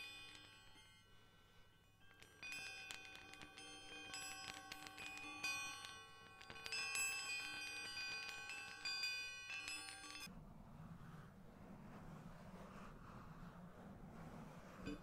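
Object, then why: Pair of hollow enameled metal baoding balls with internal chimes. Two matching hollow black enameled metal Chinese baoding balls with a yin-yang design are held in the fingers close to the microphone and rolled and shaken, making their internal chimes ring. Bright, overlapping bell-like tones shimmer and sustain for about ten seconds, then the chiming stops and a softer, duller rustling continues to the end.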